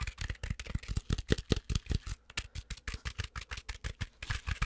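Long acrylic nails scratch fast and aggressively at the fuzzy fabric of a medium plush stuffed penguin toy, making a quick, uneven run of short, dry scratches. Each stroke has a soft, low thump with a faint bright rasp on top, and the sound dies away almost instantly.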